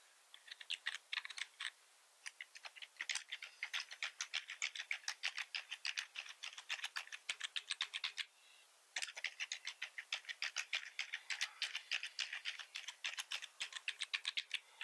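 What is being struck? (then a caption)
Plastic computer keyboard. Both hands type with their fingertips on a black plastic keyboard with a hollow body, mostly on the number pad and the left side. Rapid, bright, clicky keystrokes with no low end come in quick bursts, with a brief pause just past the halfway point before the typing resumes.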